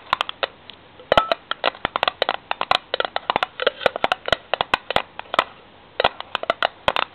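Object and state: Steel tin can lid.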